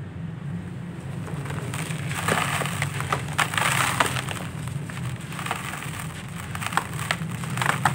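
Bare hands squeeze and crumble fist-sized solid lumps of dry, grainy brown-grey sandy clay in a red plastic basin, breaking them into dusty powder. Dense, irregular gritty crunching and crackling comes with sharp bright snaps, over a steady low hum.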